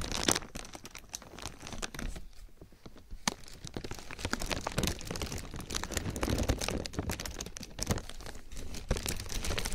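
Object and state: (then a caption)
Thin plastic bag being crinkled. A thin black plastic garbage bag draped over a binaural microphone is rubbed and crinkled with fingertips. It gives dense, continuous crackling and crinkling with sharp bright snaps and a brief quieter lull near the start.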